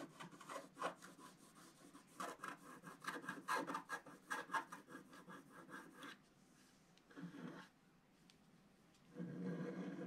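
A wooden stylus draws long scraping lines through the black coating of a flat sheet of wax-coated scratch art paper. Rapid, repeated rasping strokes fill the first six seconds with a dry, mid-to-bright scratch centered near 900 Hz. After a quieter stretch with one short stroke, a softer, lower, steady scraping closes the clip.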